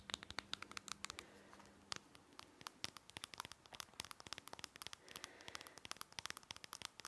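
Long nails rapidly tap and scratch a small, hollow, white plastic nasal spray bottle, across its green paper label and its body. Dozens of quiet, bright, dry clicks with no ring mix with papery scratching and crinkling. A faint low hum runs under the first two seconds.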